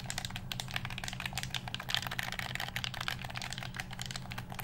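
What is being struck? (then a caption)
Plastic game controller. A black, hollow plastic game controller is held close to the microphone while fingertips press its buttons and tap its shell. A rapid, steady stream of bright, crisp clicks and taps fills the clip over a faint low hum.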